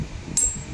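A steel itak (machete) blade from Mindanao is struck or flicked once, giving a single bright, chime-like ring that fades within about a fifth of a second over low background rumble. The blade still rings clearly, a sign of good metal.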